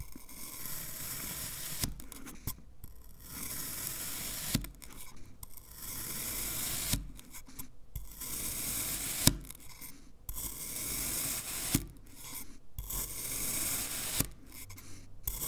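A black knife slices and scrapes through a solid, hand-sized green kinetic sand fish shape held in a hand. Long, soft, gritty hissing strokes repeat every few seconds, each separated by a brief pause, with sharp little clicks where the blade meets or leaves the sand.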